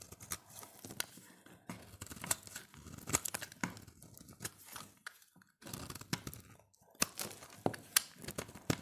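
A solid, dry, oval bar of dark green soap, held in the hand, is scraped with a utility knife blade. The blade makes a run of short, crisp, bright rasping strokes with a dry tearing, crumbly texture. Each stroke ends almost at once, with brief quiet gaps between bursts.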